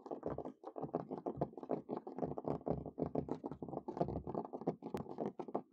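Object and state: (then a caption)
Wooden table top. Natural medium-length fingernails and fingertips quickly scurry, tap and scratch across the boards of a large, solid, weathered wooden picnic table top outdoors, moving toward the camera. A fast, dense patter of short, dry taps and scratchy strokes fills the clip, each dying away almost at once. The sound is mostly warm low-mid thuds with brighter scratchy edges.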